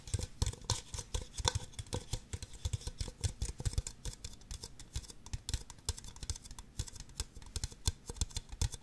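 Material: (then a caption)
Plastic. Two identical empty, hollow red plastic disposable party cups, held upside down, one in each hand, are tapped and scratched on their bases and sides with long acrylic nails. The result is a rapid, steady stream of short, dry clicks with hollow low thumps and bright scratchy edges that stop instantly with no ring.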